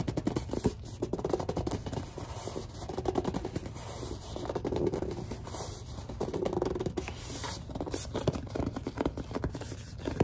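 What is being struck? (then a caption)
Plastic lotion bottle. A large white plastic Suave lotion bottle is scratched and gripped with long dark nails, including around the cap area. Steady, dense scratching and squeaky gripping sounds continue throughout, with many quick, sharp nail strokes over a low, muffled body.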